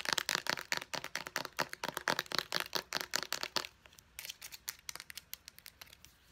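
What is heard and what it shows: Long nails tap quickly on a small white plastic pump bottle with a purple pump top, striking both the bottle body and the pump. The taps are sharp, dry and bright, with almost no low end and no ring. A dense, louder burst of taps for the first three and a half seconds gives way to softer, sparser taps that trail off.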